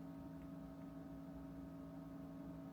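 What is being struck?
Nothing is struck.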